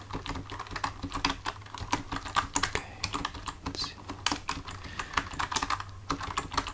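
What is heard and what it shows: Fingertips of both hands type steadily on a full-size black plastic computer keyboard resting on a desk, with the hands staying on the keys throughout. The result is a quick, uneven stream of short, dry plastic clicks centered around 1.1 kHz with bright edges, over a faint steady low hum.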